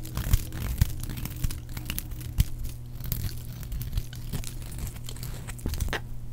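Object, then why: Bar of soap shaved with a metal blade. A solid, dry, palm-sized red soap bar is shaved repeatedly along its side with a metal blade, peeling off thin curls. Continuous dry scraping and crinkly cutting sounds are heard, with sharp crunchy clicks over a steady low hum.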